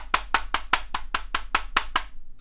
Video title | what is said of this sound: IBM 4704 Model F 77-key reproduction keyboard review | Like all modern keyboards pretty much, it's mostly made out of plastic, so it flexes like this, and it sounds hollow.